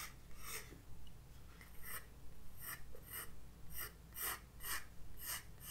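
A graphite pencil sketches lines across a white paper page of a spiral-bound sketchbook resting on a wooden desk. Short, bright, scratchy strokes repeat at an uneven pace over a quiet, steady low hum.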